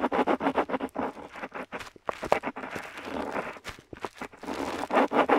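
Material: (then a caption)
Paper. A metal dip pen nib scratches across a flat paper map sheet while writing letters, seen close up. Quick bursts of dry, scratchy strokes in the mid range come in uneven clusters, with brief pauses between letters and longer, smoother scrapes in the middle.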